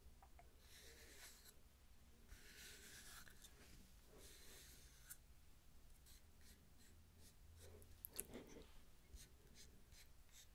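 Long nails tap and scratch the cut face and bark edge of a palm-sized, round, flat solid-wood tree slice coaster held close to the mic. Soft, bright scratching swells come and go over a steady low hum, and a few sharper taps stand out near the end.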